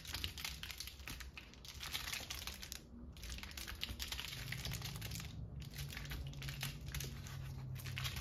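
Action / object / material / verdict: scrape / pleated paper lantern / paper / none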